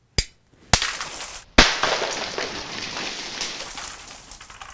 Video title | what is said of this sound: SmarterEveryDay! MOLTEN GLASS VS Prince Rupert s Drop - Smarter Every Day 285 | But if you even nick the tail, it explodes.